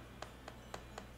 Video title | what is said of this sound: Pan de Jamón Venezolano, El Paso a paso, secretos y tips de la maestra panadera Jennifer Garcia | escuchen la prueba de Sonido crujiente